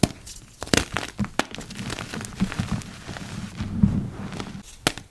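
Yellow rubber-gloved fingers crush and crumble a heap of purple-dyed gym chalk, dry powder with small chunks. Soft, dry crunching and crinkly crumbling run throughout, broken by several sharp, brief snaps as chunks give way.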